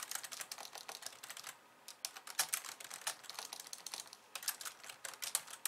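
Two hands with long nails type on a pink plastic slim keyboard with white keys. The result is rapid bursts of bright, crisp clicks that stop almost instantly, with brief pauses between runs and nothing in the low end.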